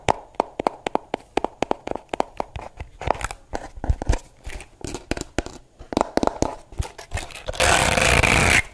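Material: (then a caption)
Plastic. A pink plastic brush with a hollow shell and plastic bristles is turned in the hands while long nails tap quickly on its back and scratch across the bristles. Sharp, irregular clicky taps come at a fast pace with short bright scrapes between them. The clip ends with about a second of loud, steady, broad scratching noise.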